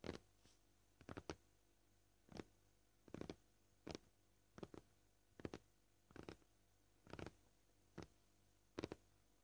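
Short painted fingernails gently tap a solid, flat, white, scratched plastic cutting board. The taps come as quick, dry, clicky single hits and small bursts at an uneven pace. Each one dies away almost instantly against a quiet background.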